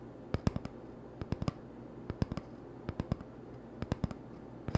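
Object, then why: Cardboard toilet paper tube. An empty, hollow cardboard toilet paper tube is held in the hand and tapped with fingertips and short nails. About 19 short, dry, hollow taps land in quick clusters of three or four, each with a low, muffled thump that dies away almost instantly.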